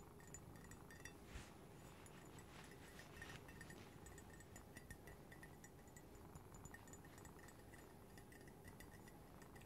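Fingernails tap and scratch around the outer wall of a hollow, empty-looking white printed ceramic coffee mug held in one hand. Quiet, rapid clicks and light clinks carry a bright ring over a steady low rumble, with scratchy hiss between the taps.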